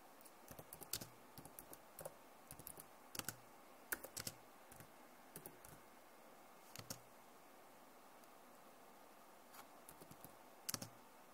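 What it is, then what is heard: Plastic laptop keyboard. Long nails type and tap on the keys of a backlit plastic laptop keyboard, producing about twenty short, bright clicks that stop dead with no ring. The taps come in quiet, irregular clusters separated by pauses, with a few louder strikes standing out.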